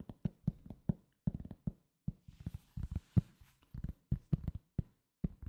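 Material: Cork.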